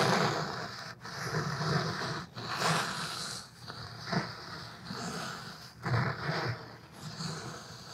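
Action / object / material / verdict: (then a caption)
scrape / cloth-covered hardcover book / cloth and board / none. A thick black cloth-covered hardcover book is held upright in both hands while fingertips and nails tap and scratch its front cover. Close, dry scratching and rubbing rustles through the whole clip, broken by soft, dull taps with a low, papery thump.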